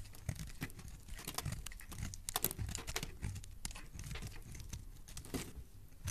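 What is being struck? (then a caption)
Bar of soap scraped with a metal blade. A metal utility-knife blade shaves and scrapes curls off the edges of a solid, translucent, hand-sized purple soap bar held in one hand with dark-painted nails. Quiet, dense scratching and crackling comes in many short, dry strokes, with a soft low rumble beneath and bright, crisp detail on top. There is almost no ring after each stroke.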